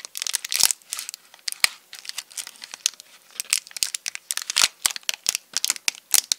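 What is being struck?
Chocolate bar in foil wrapper.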